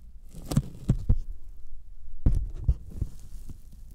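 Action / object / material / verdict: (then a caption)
tap / thin polyethylene foam sheet / polyethylene foam / none. Sticky fingertips tap a thin white closed-cell polyethylene foam sheet held by hand just above the microphones. The taps give a series of soft, low, muffled thumps that die away quickly, each with a faint bright crackle as the skin touches the foam, in an irregular, heartbeat-like rhythm.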